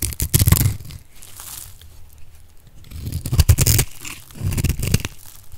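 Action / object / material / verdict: scrape / bar of dry soap / soap / none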